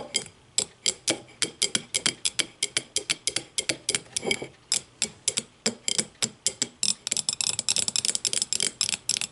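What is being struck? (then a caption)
Upturned glass tumbler. An empty clear glass tumbler sits upside down on a table and is tapped rapidly with the long matte nails of both hands. The result is dozens of short, bright, clicky taps with almost no ring, mostly high-pitched with very little low end. The taps speed up into dense flurries toward the end.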